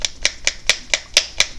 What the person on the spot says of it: got some agitators in there, and I didn't use ball bearings